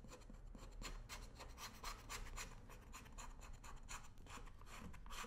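A worn black leather work boot on a shoe-shine stand is steadied by one hand while a thin metal edge tool scrapes along the welt and sole edge. It makes a continuous run of rapid, rasping scratches with bright, airy bursts over a low steady hum.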